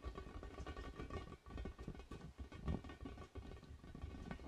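A large, orange, hollow, inflated vinyl spiky ball is held against the mic and tapped and scratched with fingertips. The result is quiet, muffled, low, hollow thumps mixed with soft rubbery scratching and rustling, with very short ring and almost no bright content.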